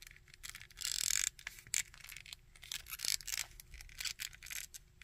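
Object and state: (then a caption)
Plastic action figure, scratched and tapped. Fingernails scratch and tap the sculpted coat and belt of a small plastic Red Skull action figure, making dry, bright scraping strokes mixed with sharp little clicks. The sound is quiet, almost all high-pitched with little low end, and comes in uneven bursts that swell and fade.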